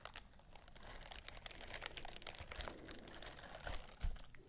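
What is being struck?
Silicone bristle glove scratched with fingernails.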